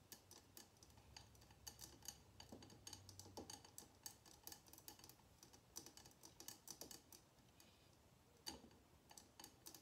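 Long nails tap rapidly around the sides of a small glass jar filled with red candle wax resting on a table. The result is a quick, uneven stream of bright, dry clicks that stop almost instantly, with a faint low hum underneath.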